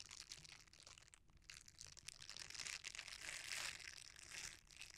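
A folded red silicone bristle scrubber is squeezed between fingers while the bristles are rubbed together. The result is a continuous, bright, crinkly crunching with irregular rustling bursts, mostly high in tone with little low end, that swells in the second half before easing off.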